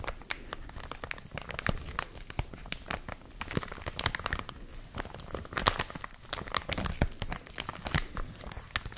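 A clear plastic film bag around a white and blue product is squeezed and crinkled by hands with long nails. A steady stream of sharp, bright crackles and crinkling snaps, each dying away almost instantly, runs over a soft, low rustle in a quiet space.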